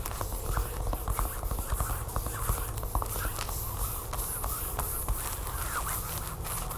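Long nails tap and scratch the smooth back of a flat, sealed plastic tablecover package with a barcode label, lying on a table. Quick crisp taps mix with a steady bright, hissy scratching, over a soft low rumble.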